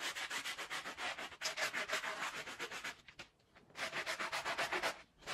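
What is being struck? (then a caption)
Wet wool pile rug scrubbed with a bristle brush. A small, soapy, woven wool Persian-style pile rug is scrubbed with a handheld plastic bristle brush while the other hand rubs the rug. Quick, bright, wet scratchy brush strokes repeat in a steady run, then pause briefly before resuming.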